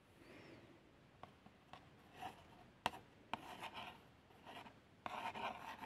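A long fingernail traces letters across the front of a small, hollow, printed cardboard box of plasters. Quiet, dry scratching strokes alternate with sharp little ticks as the nail catches the surface, carrying a thin, bright rasp centred near 1 kHz with almost no low end.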